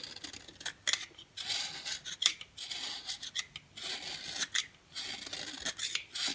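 A dry yellow oval bar of solid soap, held in the hand, is scraped with a box cutter blade, shaving it into fine yellow powder. Repeated bright, raspy scraping strokes come in quick bursts with small clicking ticks, and almost no low end.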